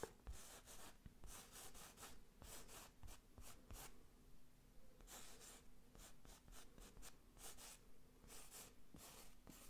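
Fingertips trace and scratch the raised lettering on a medium square IKEA New York wall picture, a textured print on a rigid frame held close to the mic. Soft, irregular scratchy strokes come in bright, hissy bursts over a quiet, low background rumble, with brief taps where the fingers catch the edges of the letters.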